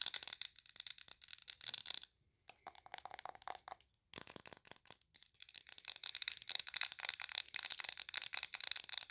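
Long nails tap rapidly on a large glass candle jar filled with green wax, held tilted in the hands. The taps are fast, dry and bright with almost no ring, in quick bursts separated by two brief pauses.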